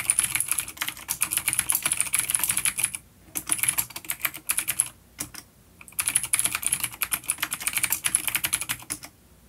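Fingertips of both hands type on a full-size, dark plastic vintage mechanical keyboard with clicky blue switches and grey keycaps, resting on a wooden desk. Rapid, bright, sharp clicks come in dense bursts, with brief pauses around the third and fifth seconds. The typing stops near the end, leaving quiet.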